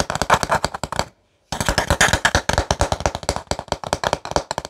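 A light, solid-wood paddle hairbrush with wooden pins is held in one hand while fingertips and nails tap and scratch its flat wooden back. Quick, dry, hollow wooden clicks and knocks come in rapid, uneven bursts, each dying almost at once. A brief silence falls just after the first second before the tapping resumes.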